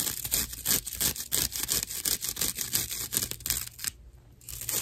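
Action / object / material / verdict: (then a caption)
scrape / natural loofah sponge / loofah fibre / none. A dry natural loofah pad is scratched with the long nails and fingertips of both hands. The result is a rapid, uneven run of rough, bright scratching strokes, with a brief quieter pause near the end before the scratching resumes.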